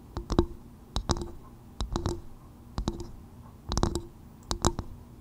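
Long acrylic nails tap and scratch the fibrous outer shell of a small, hollow, empty half-coconut shell bowl turned upside down over the mic. Six quick bursts of sharp clicking taps, each with a brief hollow, woody resonance, are separated by softer scratching. Each hit dies away almost at once.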